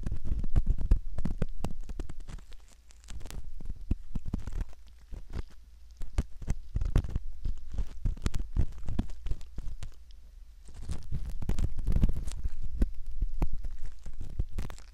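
A curved metal pick scrapes inside the canal opening of a soft silicone ear model, making close, irregular crackling and scratching clicks over a deep, muffled rumble. The scraping comes in busy bursts with brief quieter stretches between them.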